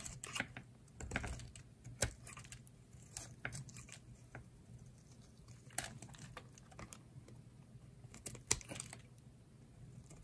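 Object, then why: Bar of soap shaved with a blade. A solid rectangular green bar of dry soap is held in the hand and shaved along its top edge with a utility knife blade. Short, dry, crisp scraping and crackling strokes come one after another, with bright edges on the sharper cuts. A faint, steady low hum sits underneath throughout.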